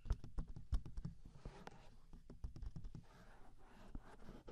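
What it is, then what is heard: Silicone microphone ears tapped and rubbed. Fingertips of both hands tap and rub the two soft, hand-sized silicone ear shapes with hollow ear canals on a 3Dio binaural microphone. The result is a loose, irregular run of dull, low, close-up thumps mixed with soft scratchy rubbing.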